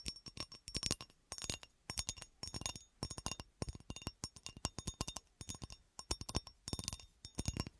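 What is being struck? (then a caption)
Cut glass horseshoe. A textured cut-glass horseshoe is scratched and tapped, giving quick bright glass clinks and scratchy clicks in short clustered bursts. Each sound stops almost at once with no lasting ring.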